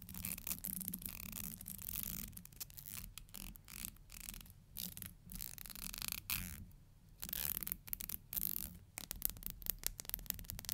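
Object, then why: Plastic hair comb. Long nails strum and scratch the fine teeth of a thin, solid black plastic hair comb. Bright, raspy bursts of clicking scrapes come in uneven runs, broken by short quiet gaps, over a low steady rumble.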